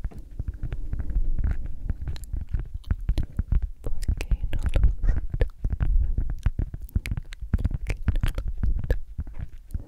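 A round, flat, solid cork coaster is tapped and scratched with long acrylic nails. The result is a steady run of soft, dull, close taps, low and thumpy with quick bright clicks on top, mixed with scratching texture throughout.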